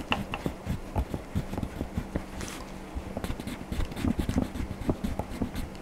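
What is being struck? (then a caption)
Wax crayon on paper coloring book page. A hand colors Donald Duck's shirt in an open paper coloring book lying flat, using a blue wax crayon in repeated back-and-forth strokes. The crayon makes a dry, scratchy rasp on the paper, with a string of short, soft scraping bursts over a low, steady hum.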